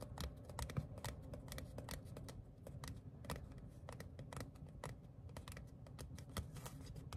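Fingertips and short nails tap and flick a small, thin printed paper or cardstock ticket card held in the hands. The result is a quick, irregular run of light, crisp clicks with bright papery ticks over a steady low hum.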